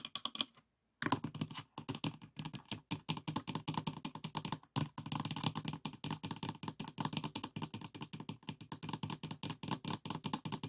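Fingertips and nails of both hands tap quickly on the front inner wall and dividers of an open, empty, light pine wooden box with compartments. The result is a dense, continuous patter of short, dry clicks and knocks, each with a hollow, low body and a bright, crisp edge that dies away almost instantly. The tapping runs steadily throughout, apart from a brief pause near the start.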